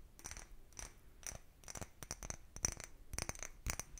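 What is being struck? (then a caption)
Small cut-glass bottle. A small, empty, clear cut-glass bottle with a narrow neck is held in both hands and tapped and scratched with fingertips and nails. It makes a quiet series of short, bright clicks and clinks with a high glassy tone, separated by soft scratching. Each tap dies away almost at once.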